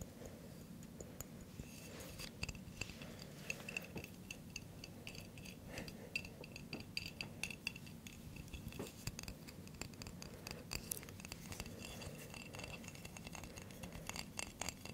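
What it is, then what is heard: Glass coffee jar tapped and scratched. A hand-sized Nescafe Gold glass jar filled with coffee, with a metallic lid, is tapped and scratched with fingernails on its glass body and lid. The result is a quiet, steady run of quick, dry clicks and scratchy rasps with bright high overtones, each dying away almost at once over a low, soft background hum.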